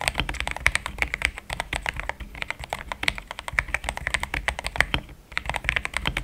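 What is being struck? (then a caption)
Mechanical keyboard with plastic keycaps. Fingertips type in steady, rapid taps on a pink-framed compact mechanical keyboard with thick cream XDA plastic keycaps, linear switches, a polycarbonate plate and a hollow case. Each keystroke is a short, crisp clack with a bright upper edge and a little low body beneath it, dying away almost at once. The taps run together in a continuous typing patter with brief uneven pauses.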